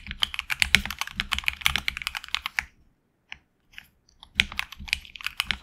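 Fingertips type continuously on a HyperX Alloy Origins Core tenkeyless mechanical keyboard with lubed HX Red linear switches and red and black PBT plastic keycaps, mounted on an aluminum plate in a hollow case. The result is a rapid run of bright, sharp clacks with very short decay. The typing pauses midway, with only a few isolated clicks, before resuming.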